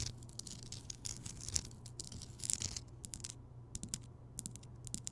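Long nails scratch and tap across the rough surface of a large, rounded, solid Himalayan rock salt lamp that is lit. Quiet, bright, crisp scratches and short clicking taps come in uneven bursts over a steady low hum.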